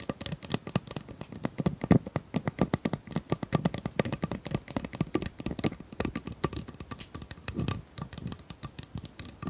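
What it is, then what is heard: Plastic pop tube. Long nails tap and scratch along the ridges of a hollow, pink corrugated plastic pop tube about 25 cm long. The result is a rapid, steady stream of short, dry clicks with a hollow low-mid body and quick decay, plus light scratchy rasps between the taps.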